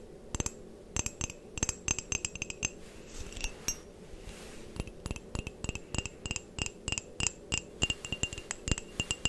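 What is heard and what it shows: An empty-looking, hollow white printed ceramic coffee mug, held close to the microphone, is tapped and scratched with long painted nails. Quick bright clicks with a glassy high ring come in rapid clusters, broken by brief soft scratching, across about nine seconds.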